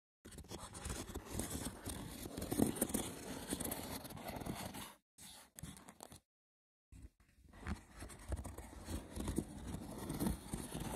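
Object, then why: Woven wicker box with lid. Fingernails scratch the sides and then the top of a small, hollow, rectangular woven wicker box with a lid, making dense, rough, crackling scrapes with a hollow low body. The scratching runs steadily for about five seconds, breaks into a few short bursts, and after a brief silence resumes through to the end.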